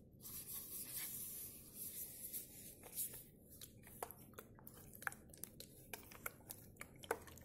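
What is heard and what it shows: Fingertips and nails scratch and tap along the body of a hollow, white opaque plastic bottle with a blue cap, held sideways over a tablecloth. The first three seconds are a soft, continuous hissy scratching, followed by sharp, dry, irregular clicking taps that stop instantly.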